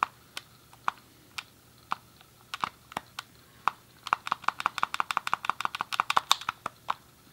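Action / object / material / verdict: tap / plastic handheld game controller / plastic / none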